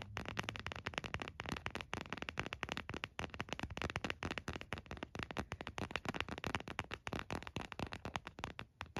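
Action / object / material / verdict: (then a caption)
tap / plastic phone case / plastic / none. An empty white frosted plastic phone case is held in both hands while the nails of both hands tap and scratch its back. This produces a dense, fast stream of sharp, dry plastic clicks with a bright, crisp edge and scratchy texture between them. The taps have almost no ring and continue steadily throughout.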